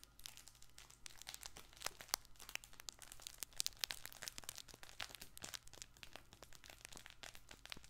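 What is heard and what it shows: A soft fabric baby ball with yellow dotted and blue panels is squeezed with both hands, making its crinkle material rustle. Dense, bright crinkling and crackling runs throughout, with quick sharp snaps rising above a faint steady low hum.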